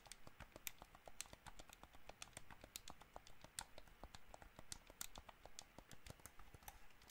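Fingertips and nails tap rapidly on the buttons and shell of a hollow white plastic gamepad. The result is a quick, irregular stream of short, dry clicks with bright edges over a soft low rumble.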